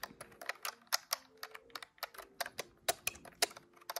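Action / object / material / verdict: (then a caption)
tap / plastic desktop calculator / plastic / none. Fingertips press the plastic keys of a large, hollow, grey-white plastic desktop calculator, giving a quick run of about 20 sharp, bright clacks at irregular spacing. Each press is dry and dies away almost at once, with no low-end body.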